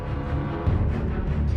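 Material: Nothing is struck.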